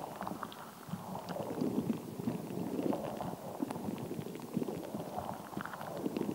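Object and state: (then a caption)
Rubber squishy ball filled with water beads. A fist-sized, translucent soft rubber stress ball filled with colored gel water beads is held in the hands, squeezed, and tapped and scratched with long acrylic nails. The result is a steady stream of soft, wet squishing and squelching, with low-mid bubbly pops and faint bright clicks from the nails.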